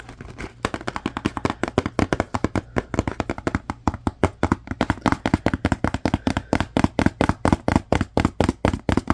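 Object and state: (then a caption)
Empty cardboard box. Fingertips tap, squeeze and handle a small empty paperboard Scrub Daddy sponge box with its top flaps open. A fast, steady run of dozens of dry, short taps sounds over a faint low hum, growing more even and regular toward the end.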